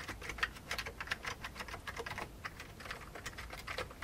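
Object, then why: Plastic computer keyboard. Both hands type with their fingertips on a full-size vintage beige plastic computer keyboard with hollow keycaps, resting on a desk. The result is a steady run of quick, dry, hollow plastic clicks centered around 1.8 kHz with bright edges, each dying out almost instantly.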